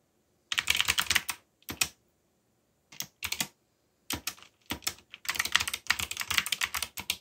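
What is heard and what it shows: Fingertips type on a backlit mechanical keyboard with black plastic keycaps, producing rapid bursts of short, bright, clicky key presses. The bursts are separated by brief pauses, and each click stops almost instantly with no ring.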